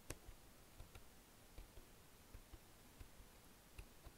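Fingertips and nails tap and type on the keys near Enter and Backspace of a black plastic wireless chiclet keyboard. Quiet, soft, dull clicks are scattered over a low hushed background, each dying away almost instantly with a little bright tick on top.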